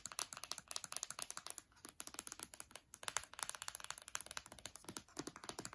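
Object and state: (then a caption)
Aluminium laptop palm rest and trackpad. Long dark nails tap rapidly across the aluminium palm rest, glass trackpad and nearby keys of an open MacBook Air lying on a bed. The result is dozens of quiet, dry, bright clicks with almost no low end and no ring, in fast bursts separated by brief pauses.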